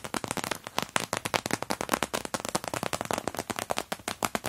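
Long-nailed fingertips rhythmically press and tap the clear vinyl pockets of an open clear PVC cosmetic toiletry pouch stuffed with crumpled tissue paper. About thirty sharp, dry crackles follow one another quickly, each very short and bright with almost no low end and little ring. The result is a steady, snappy run of crinkly pops.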